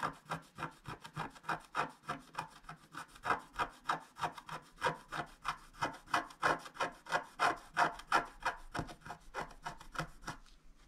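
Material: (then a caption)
Coated card. A wooden stylus scratches the bottom area of a flat coated scratch-art sheet in quick back-and-forth strokes. The strokes come as a steady, slightly uneven run of about three dry, raspy scrapes per second, centered in the mids around 1.4 kHz with little low end. Each stroke stops short with almost no ring.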